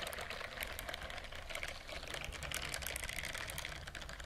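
Fingertips and long nails scratch and rub the soft bristles of a white silicone bristled dish glove held up close to the microphone. The result is a dense, rapid stream of crisp, bright crackling and scratching ticks over a faint low rumble, holding fairly steady throughout.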